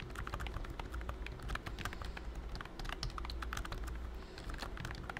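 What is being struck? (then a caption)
Plastic keyboard keys under a silicone skin. Fingertips of both hands type steadily on a pink and cream BT21 Cooky full-size plastic wireless keyboard with round keys and a hollow body, covered by a thin silicone key skin. The result is a dense run of soft, muffled taps with short bright clicks, over a steady low hum.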